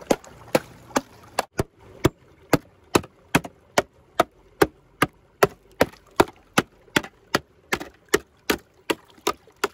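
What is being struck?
Clear ice sheet struck with a hammer.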